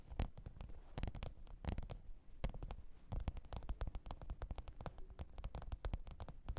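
Long pointed nails tap and scratch the top of a black textured faux-leather zippered hard-shell microphone case lying flat on fur. Quick, irregular taps make dull, low thuds with short, crisp clicks, mixed with brief scratching. The sound is quiet and close, with almost no ring after each hit.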